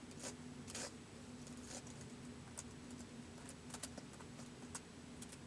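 Fingertips of both hands slowly type on the white plastic keys of a laptop keyboard, producing nine spaced, soft, bright clicks. The clicks ring out only briefly over a steady low hum near 250 Hz.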